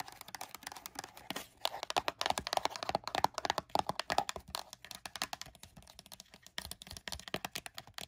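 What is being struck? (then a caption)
Small closed cardboard box. Long burgundy nails tap quickly on the top and sides of a small, closed, hollow printed LEGO cardboard box. The result is a steady stream of dry, papery clicks with bright crinkly edges and a faint hollow tone near 850 Hz, each tap stopping almost instantly.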